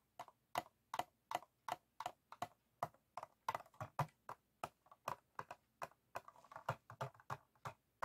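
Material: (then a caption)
Plastic. An empty, clear, ribbed PET plastic water bottle, hollow and lying on a wooden table, is tapped and scratched with the fingertips and nails of both hands. The result is a quick, uneven series of short, dry, hollow clicks and taps with a midrange plastic tone around 720 Hz. Each tap dies away almost instantly, with light scratchy rustles between them.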